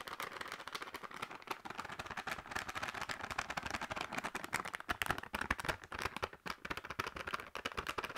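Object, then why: Sealed plastic crisp packet. A sealed, full plastic crisp packet is tapped quickly with long nails. The result is a steady stream of crisp, crinkly clicks and rattles, brightest in the mid and high range and with almost no low end. Each tap dies away almost at once.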